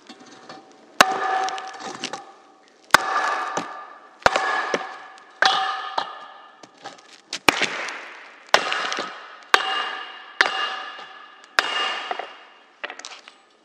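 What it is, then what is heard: Red-hot steel pipe struck with a hammer. A long hollow steel pipe, its glowing red-hot end resting on a concrete block, is struck repeatedly by a red-headed hammer held in a gloved hand. Each blow gives a sharp metallic clang that rings with bright, bell-like tones for about a second before fading, with faint crackling between strikes.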